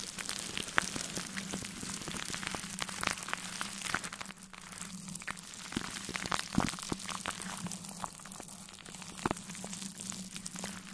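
A large synthetic brush held in a black-gloved hand sweeps over clear plastic cling film wrapped tightly around a metal mesh microphone grille. It makes a steady, dense crackling rustle like sizzling, with many sharp bright ticks and pops over a faint low hum.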